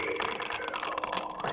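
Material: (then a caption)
Plastic. A plastic Blu-ray case holding The Boondock Saints II: All Saints Day disc is shaken, giving a continuous, dense plastic rattle with bright mid and high clicks and almost no low end. The case sounds very rattly, as the disc sits loose inside.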